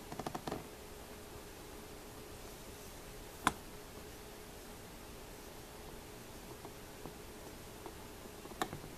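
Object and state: Mother of pearl and brass opera glasses.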